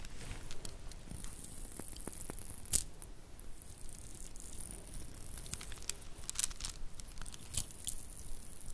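Faux pearl bead bracelets made of small plastic beads are dangled and stretched between the hands, the beads clicking together as the fingers shake and roll them. Quiet, irregular bright clicks and light crinkly patter run throughout over a low, soft rustle, with a sharper louder click near the 2.8-second mark and a few more toward the end.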